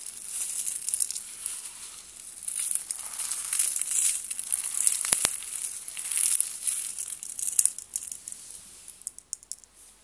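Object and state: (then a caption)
Dry soap flakes being crushed. A handful of fine, light-green dry soap shavings is squeezed in the palms and fingers, crushed and rubbed together. The sound is a steady, quiet, bright crinkling crunch, almost all high hiss with no low end, swelling and easing in waves. Toward the end it thins out into a few sharp, isolated crackles.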